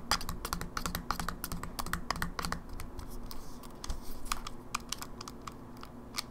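Fingertips and nails tap the edges of a closed, small, hollow silver plastic Game Boy Advance SP held in both hands and click its shoulder buttons. Quick, sharp, bright clicks and taps come in dense clusters over a low, steady background hum.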